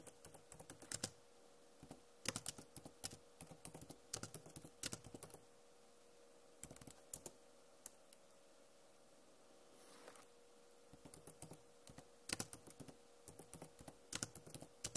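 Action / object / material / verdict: tap / plastic laptop keyboard / plastic / none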